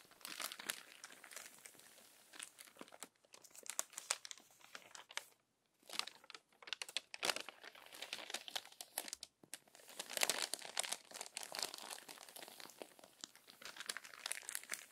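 A glossy paper magazine with crinkled pages is handled by long nails that turn the crinkly pages and smooth them flat. Dense, bright crinkling and crackling comes in bursts, with brief quiet gaps, and almost no low end.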